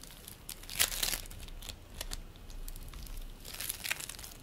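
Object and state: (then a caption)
Bead play foam being squeezed. Fingers pinch, pull and squeeze a green play foam ball made of polystyrene beads, shaping it into a ball. Dense, bright crinkling and crackling comes in bursts, loudest near the start and again toward the end, over a faint low rumble.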